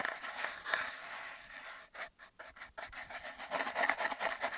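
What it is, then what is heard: Cardboard tube brushed. A soft black makeup brush brushes and rubs an empty, hollow cardboard toilet-paper tube taped to a table over a mic cable. It makes a quiet, airy swishing hiss that is bright with almost no low end. Steady rubbing gives way to a few short, separate strokes with brief silences, then quicker scratchy brushing resumes.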